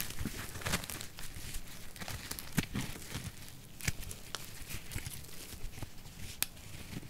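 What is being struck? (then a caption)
Bar soap ball scraped with a thin metal blade. A thin metal blade is drawn across a solid pink bar soap ball held in the fingers, shaving off curls. The result is a continuous, crunchy scraping and crinkling texture, punctuated by sharp, bright crackles.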